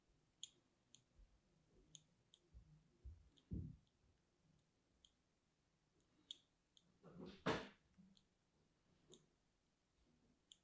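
A thin metal needle scores and scratches lines into the surface of a small, solid bar of orange-and-white striped soap held in one hand with long painted nails. Quiet, irregular, bright little clicks and ticks are heard over soft, low scraping, with a louder, denser scratch about two-thirds of the way through.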